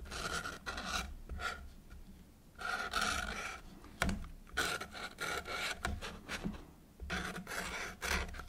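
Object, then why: Cardboard tube rubbed with a felt marker tip. A pink felt marker tip is drawn across a long, hollow brown cardboard tube lying on a basket, rubbing and scratching along its surface. Bursts of dry, papery rasping come in uneven strokes with short quiet gaps between them. Each burst carries a steady scratchy hiss up into the highs over a faint low hum.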